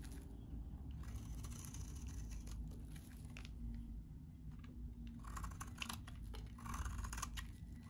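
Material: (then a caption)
Soap. A solid, hand-sized white bar of very dry soap, held in the hand, is shaved into powdery curls with a metal utility knife blade. There are quiet, dry scraping and crunching strokes with bright crackly bursts over a steady low rumble.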